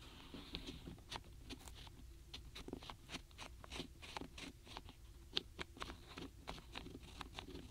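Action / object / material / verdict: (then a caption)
tap / small wooden stamp blocks in a cardboard tray / wood / none. Fingertips with long natural nails tap and scratch across the tops of a full set of small, solid wooden alphabet stamp blocks packed tightly in a shallow paperboard tray. The result is a quiet, steady patter of quick, dry, bright clicks and scratchy rubs that stop instantly with no ring, over a soft low rumble.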